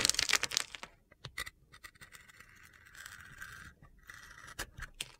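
A metal utility-knife blade scrapes and carves thin slices off the side of a solid rectangular bar of soap with a rainbow-to-yellow glitter coating, held in the hand, exposing white soap underneath. A loud, bright, gritty scrape opens the clip, followed by quieter crisp scrapes, sharp clicks and sustained high-pitched scraping strokes.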